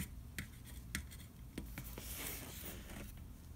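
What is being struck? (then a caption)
Round metal cookie tin. A fingertip traces over the printed letters and cookie images on the side wall of a large, hollow, round metal butter cookie tin held on its side. A soft, dry scratching rub runs throughout, with a few brief bright ticks and a broader hiss midway, over a faint low hum.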